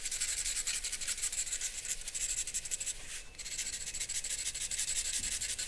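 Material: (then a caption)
Paper. A charcoal pencil rubs and scratches repeated hatching strokes across a large white drawing paper sheet resting on a black board on a wooden desk. The result is a steady, bright, papery scratching made of rapid strokes, with a brief pause just past the three-second mark before the hatching resumes.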